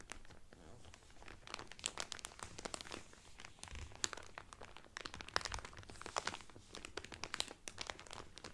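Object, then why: Cellophane wrapper around a folded cotton towel. Both hands press and crinkle the clear cellophane wrapper around a blue Carnival cotton towel folded flat inside. Dense, rapid, bright crackles and crunches run continuously, with sharp peaks scattered over a soft low rustle.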